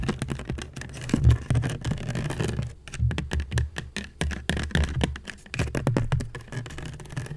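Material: Seagrass.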